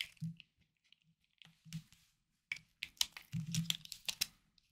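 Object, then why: Hard bar soap cut by a small knife. A small knife carves and scrapes a hard, solid green bar of soap held in hand over a wooden board. The result is a series of crisp, dry scrapes and bright crunchy crackles with soft low thumps underneath, in short irregular bursts with brief silences between them.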